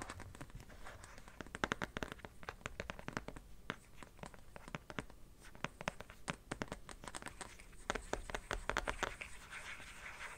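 An empty black plastic phone case, held at an angle, is scratched and tapped on its surface and edge with fingernails. Dense, irregular runs of short, dry clicks and scratches sound throughout, with brief louder bursts and a faint low rumble underneath.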